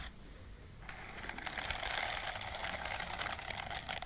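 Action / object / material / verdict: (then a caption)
scrape / silicone scrubbing glove with bristles / silicone / none. Long nails scratch and strum the bristles on the palm and fingers of a white silicone dishwashing glove worn on one hand. After a quiet first second, a dense, fast, irregular crackle of bristle scratches fills the mids and highs, with sharp bright flicks throughout.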